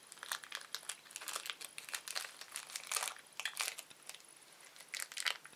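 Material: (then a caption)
Plastic. A small, thin, empty red-orange printed plastic candy wrapper is twisted, stretched and crushed between the fingertips of both hands. It makes a dense, bright crinkling made of many quick, sharp crackles that keeps going for the whole clip.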